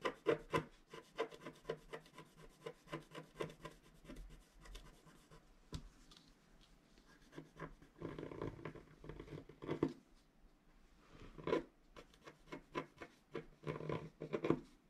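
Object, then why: Black-coated paper scratch art card scratched with a wooden stylus. A wooden stylus scratches hatching strokes into the black coating of a flat scratch art card held with fingers. The sound is a steady run of short, dry scratching and rasping strokes, some in quick bursts and others drawn out, with bright hiss above a low-mid body.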